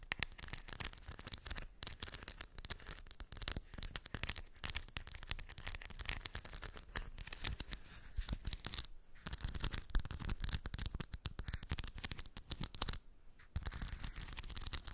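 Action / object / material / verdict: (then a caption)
scrape / small steel balls in a shallow cork dish / steel / none. Long white acrylic nails scratch and rake through small shiny steel ball bearings in a shallow, round cork/terracotta-coloured dish. The result is a dense, continuous stream of bright clicking, rattling and scratchy rustling. It pauses briefly now and then before resuming.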